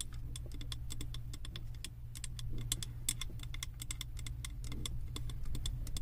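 Long acrylic nails tap rapidly and irregularly on the side of a large glass candle jar filled with wax and printed with a ski lodge design. Each tap is a short, bright click with a brief high glassy ring, heard over a steady low hum.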